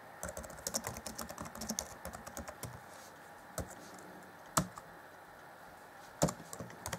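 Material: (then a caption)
Plastic. Fingertips of both hands type rapidly on the black plastic chiclet keys of a 2014 Acer Chromebook C20's grey laptop keyboard deck. A quick flurry of light, clicky taps fills the first few seconds, then slows to a few isolated, sharper key strikes with quiet pauses between.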